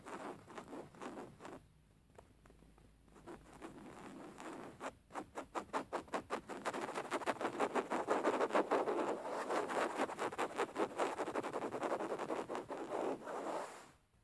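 Fingernails of both hands scratch a beige woven linen fabric cushion lying flat. Soft, dry scratching strokes start quietly, thin out into a brief lull, then build into a dense, rapid run of rhythmic scratches before stopping.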